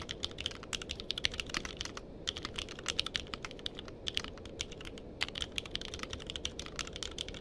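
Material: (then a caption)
Plastic. Fingertips type quickly on a compact mechanical keyboard with a purple case and plastic keycaps, with a microphone nearby that is not touched. Dense, bright, clicky keystrokes snap off almost instantly over a steady low background noise, with brief lulls near two and five seconds.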